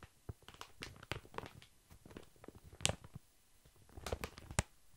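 A large, soft, full pack of baby wipes in thin plastic film is held upright and lightly tapped with long fingernails. Quiet, irregular taps give short, crinkly clicks, bright at the top, with soft low thuds beneath, and a few sharper taps stand out near the end.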